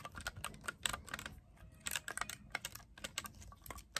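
Fingers quickly press and tap the silver metal keys of a black clarinet held horizontally. The result is a rapid, irregular run of short, bright clicks and taps with almost no ring, much like fast typing on a keyboard.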